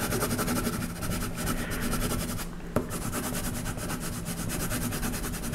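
A colored pencil shades the horse's legs and the ground on a flat paper coloring page held down by hand, making steady rubbing strokes. The sound is a continuous soft, grainy scratching with a low hum underneath, dipping slightly midway before a single brief sharp click.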